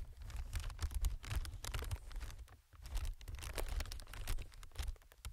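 Fingertips of one hand tap and scratch a clear plastic film air packing pillow strip with printed text and inflated hollow chambers. Quick, crinkly taps and rustling scratches come in a steady flurry with bright crackle over a low, dull thump, briefly quieting partway through before picking up again.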